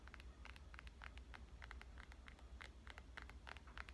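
Fingernails rapidly tap on the screen and back of a black glass and metal smartphone, making quick, light, bright clicks. The taps run continuously over a steady low hum.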